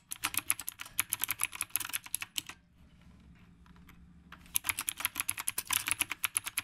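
Fingertips type on a retro typewriter-style mechanical keyboard with round plastic keycaps, producing a quick run of sharp, bright clicks. The typing stops for about two seconds, leaving only a faint low hum and a few soft ticks, then resumes in another steady burst of crisp keystrokes.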